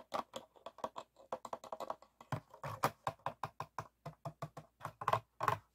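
An empty, hollow, clear ribbed PET plastic water bottle with a blue cap, held on a table, is tapped and scratched with fingertips and nails. About 28 quick, dry, clicky taps and scrapes follow one another in a steady, typing-like patter. They have a hollow midrange tone around 1 kHz and almost no ring.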